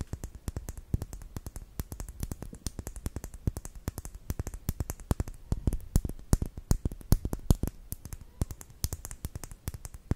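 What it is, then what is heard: Plastic lip gloss tube. A small, closed, filled clear pink plastic lip gloss tube with a silver cap is held horizontally and tapped with long nails. The result is a fast, irregular stream of short, dry clicking taps, each with a soft low thud and a bright tick that stops almost instantly.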